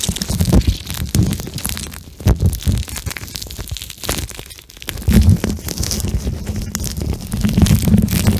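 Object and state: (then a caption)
Gel bead eye mask squeezed on the mic. A pink gel bead eye mask with eye holes is stretched and squeezed in the hands, then pressed against the microphone and squished with fingertips. It makes dull, low, muffled squelching and rubbing bursts with faint crinkly bright texture, rising and falling in irregular waves.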